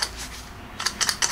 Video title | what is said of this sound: This is why auto Evos fail.. (pulling the torque damper) | clang like that that's a sign that you got a bad torque damper on your SST